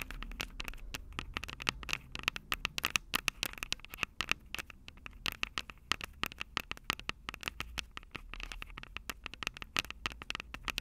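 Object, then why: Metal microphone capsules of a handheld recorder. Long purple acrylic nails rapidly tap and scratch the two metal microphone capsules of a small black plastic Tascam DR-05 handheld recorder held upright. A dense, uneven stream of sharp, bright clicks and scratchy scrapes centers around 2.6 kHz, with each hit cutting off instantly over a faint low rumble.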